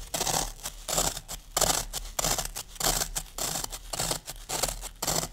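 Fingertips and long nails scratch and crush the top surface of a solid green floral foam brick. Crisp, bright crunching and scratching bursts repeat in a loose, uneven rhythm over a soft hiss, each stroke dying away quickly.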